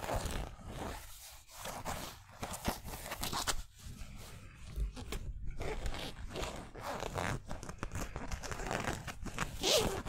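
Nails and fingertips scratch across the stitched twill lettering of a yellow San Francisco basketball jersey made of polyester mesh, hanging on a hanger. Dense, irregular scratchy rasps and rubbing strokes run throughout, with a low rumble underneath and brighter bursts of scraping texture.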